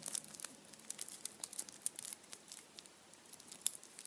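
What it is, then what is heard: Foil-wrapped chocolate bunny. A foil-wrapped Kinder chocolate Easter bunny in printed aluminium foil stands upright on a towel while its foil is rubbed and tapped with fingertips. The result is a quiet, bright stream of crisp crinkles and tiny sharp ticks, all high in pitch with almost no low end. The sound stops dead after each touch.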